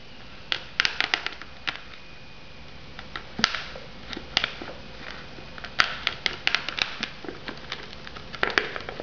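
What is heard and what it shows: Long nails tap and scratch the lid and rim of a shrink-wrapped foam noodle cup. Sharp, bright clicks and crinkly scrapes come in irregular bursts over a quiet background hiss. Each tap dies away almost instantly.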